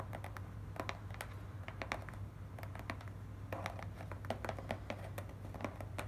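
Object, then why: Corrugated cardboard box. Long nails quickly tap and scratch the top and front side of a small, hollow, closed and stapled corrugated cardboard shipping box. The result is a fast run of short, dry clicks and scrapes with little ring, over a steady low hum.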